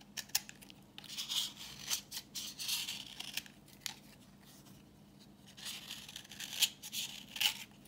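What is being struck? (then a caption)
Bar of soap. A utility knife blade scrapes a solid, translucent reddish bar of dry vintage soap held in the hand, shaving off orange curls. The sound is a series of bright, crisp scraping and crackling strokes with sharp clicks, broken by a quieter pause in the middle.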